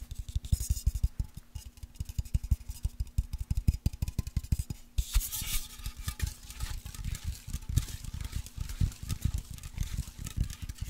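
A white, cylindrical aluminium Dove deodorant aerosol can, pressurised with its contents, is tapped with fingertips and nails and shaken. A rapid, steady run of dull, low, short taps plays over a faint constant hum. Around the midpoint a brighter, hissing wash of sloshing noise rises underneath the continuing taps.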